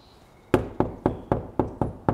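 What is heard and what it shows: Seven dull, short knocks land on a brick wall at the Thornewood Castle filming location, each with a low thud around 370 Hz that dies away quickly. The brick is real, unlike the fake cement pieces nearby.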